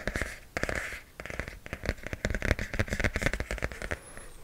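Fingernails tap and scratch a pink hardcover notebook with a glossy printed cover held close to the mic. Scratchy bursts give way to a quick, uneven run of short, dry taps with a dull low thump and almost no ring, ending in lighter scratching.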